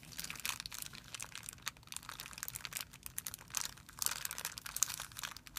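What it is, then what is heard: Thin plastic film bag crinkling. A hand crumples a thin, clear plastic film bag resting on a white surface while fingertips rub it. The result is a continuous, bright, dense crinkling made of many small sharp crackles that swell and fade, with almost no low end.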